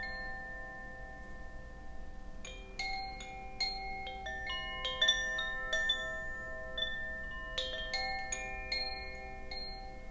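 A hollow bamboo Koshi wind chime, dangled from a hand and gently swayed, lets its clapper strike the metal rods inside. After a quiet start with a faint lingering tone, irregular bright, bell-like notes ring out and overlap, each sustaining for about a second over a low, steady background hum.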